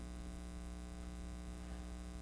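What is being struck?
Nothing is struck.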